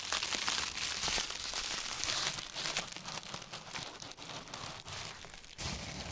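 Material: Plastic.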